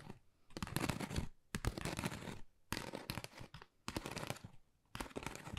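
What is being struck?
Pebble-textured cardboard folder.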